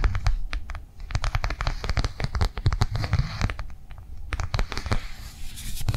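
Long fingernails tap fast across the edge and surface of a flat, blue, rectangular plastic cardholder lying on a table. The result is a quick, uneven stream of dry, clicky taps with a low, thumpy body, each tap dying away almost instantly.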